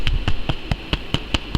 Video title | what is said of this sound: No Knead Bread stuffed with chili peppers & Cheese! (Pan relleno de chiles y queso!) | when you tap on them they sound a little Hollow